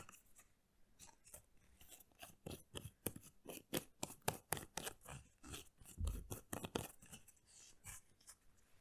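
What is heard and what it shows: Long nails tap on the plastic screw cap and body of a hollow, hard-plastic Planet Pure laundry gel bottle, partly full of liquid, held close to the mic. About two dozen quick, dry clicks sound with a slight hollow knock, each dying away almost at once.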